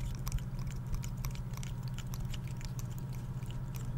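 Fingertips and nails scratch and flick the open woody scales of a dry, brown, hand-sized pine cone held close to the microphone. Quick, dry, crackly clicks with bright tips repeat irregularly over a steady low hum.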